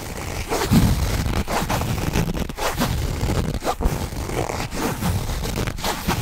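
A medium black nylon or polyester zippered bag, hollow and apparently empty, is held in both hands close to the mic while fingertips quickly scratch and rub the fabric and work the zipper. The result is a dense, continuous stream of rough scraping and zipper rasps with a heavy low-end rumble and frequent sharp surges.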